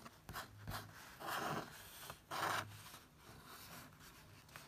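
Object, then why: Paper book page. Fingertips trace and rub across a printed photo page in an open paperback book. Soft, dry papery rubbing and scratching strokes come and go, with two louder swells of friction in the middle of the clip. Faint light brushes fill the gaps in between.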